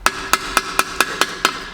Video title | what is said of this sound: Tõeline Põrsas kotis Infiniti FX35 Osa 2 | Empty like a Vitamin Well bottle after you've finished it